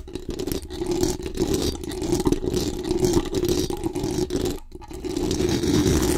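Very long acrylic nails scratch fast and aggressively across the hollow metal mesh dome grille of a large condenser microphone. The result is a dense, continuous rasping scrape with a strong low-mid hum and rumbly lows, briefly dropping out before building louder again.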